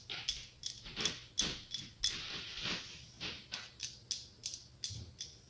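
Long acrylic nails tap and scratch the tiled surface of a hollow glass-tile mosaic pumpkin held up close. About fifteen quick, bright clicks ring briefly near 3.4 kHz, with soft scratchy hiss between them and almost no low end.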